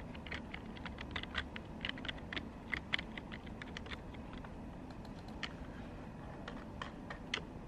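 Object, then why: Plastic computer keyboard. Long pink fingernails type rapidly and tap on the hollow keys of a black plastic desktop computer keyboard. The result is a quick run of sharp, bright clicks over a steady low background rumble.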